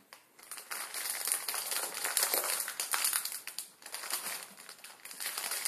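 Fingertips squeeze and crush a full plastic-film ramen packet on a wooden table, breaking the dry noodle block inside. Dense, irregular, bright crinkling and crackling comes in bursts with no low end. Brief quieter gaps fall between the crunches.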